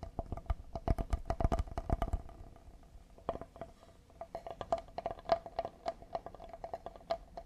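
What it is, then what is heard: Cedar wooden serving board. A solid cedar serving board with a handle, with a hole in the handle, is tapped with fingertips and nails on its face and handle. A rapid burst of short, dry taps is followed by a brief lull, then a sparser, irregular run of taps that each stop almost at once. A faint steady tone sits under the taps throughout.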